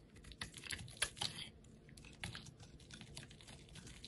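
A utility knife blade shaves thin slices off the surface of a solid pale yellow bar of soap held by a hand with painted nails. The result is a quiet series of crisp, bright scraping and shaving sounds with short, sharp ticks, the strongest around the one-second mark, over a soft low rumble.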